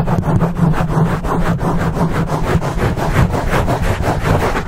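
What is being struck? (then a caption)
Foam microphone windscreen. Fingers of both hands scratch and rub the top and sides of a dark foam microphone windscreen. The result is a continuous, fast, uneven scratching that comes through as a deep, muffled rumble, heavy in the low end with little brightness.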